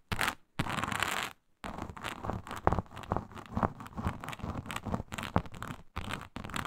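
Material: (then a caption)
Synthetic leather. Long pointed nails scratch with both hands across a flat, iridescent faux snakeskin mat of embossed reptile-pattern synthetic leather. Two short bursts of dry, broadband scraping are followed by a brief silence, then a steady run of rough, crackly strokes with sharper accents over a low rumbling base, ending after another short pause.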